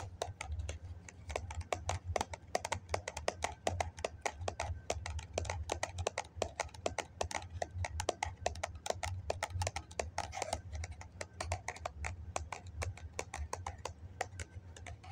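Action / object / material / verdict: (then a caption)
tap / foam cup / foam / none. Fingertips and nails tap quickly on the side wall of a hollow white foam cup held upright, making a steady run of short, dry, hollow clicks with a light bright edge. Each tap dies away almost at once over a constant low hum.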